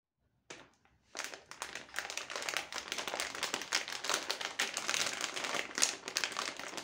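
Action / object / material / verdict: shake / plastic foil bag of foil-wrapped chocolates / plastic foil / none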